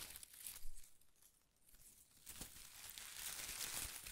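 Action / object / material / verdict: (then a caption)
scrape / bundle of shredded paper strips / paper / none. A bundle of thin pastel paper shreds held in one hand is squeezed and crinkled with fingertips and short nails. Soft, dry crinkling rises in a short burst early on, dips to near quiet, then returns as a steadier, brighter rustle with a few sharper crackles toward the end.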